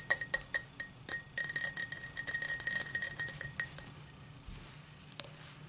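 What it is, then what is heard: Cut crystal highball glass. Long matte black nails tap and scratch a tall, empty cut-crystal highball glass lying on a towel. It gives a quick, uneven run of bright, high glassy clinks with short ringing tones, crowding together in the middle and then thinning out into faint, soft taps and scratches.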